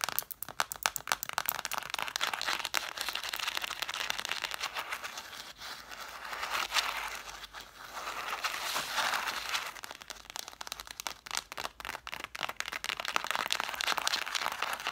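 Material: Cloth, paper.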